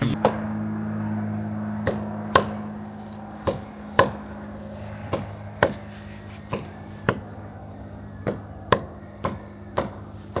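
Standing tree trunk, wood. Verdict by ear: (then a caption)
Solid. A hazard tree assessor strikes a living tree trunk marked for removal in Stanley Park with a mallet, producing 15 short, dry wooden knocks at an uneven pace over a steady low hum. The knocks are sharp and damped with almost no ring, and the trunk is judged fairly stable, with a little tone in one low spot.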